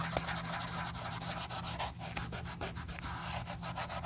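A wool dauber on a clip rubs dye over the toe and vamp of a hollow, empty brown leather Josef Seibel slip-on sandal held in black-gloved hands. A continuous soft scrubbing is heard, with repeated short brushy strokes and a bright hiss over a steady low hum.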